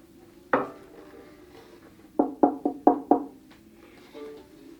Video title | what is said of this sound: Which ARCUS bow for my violin? | They also have their own tones, and they are quite different.